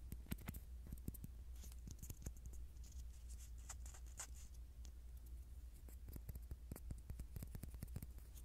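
A small, flat, round white plastic disc, the base of a Pop Mart SpongeBob Picnic figure printed "SpongeBob" in red, is held in the fingers close to the microphone and tapped and scratched with fingertips and short nails. The result is a quiet, steady stream of quick dry clicks and brief high, bright scratching rasps over a constant low hum.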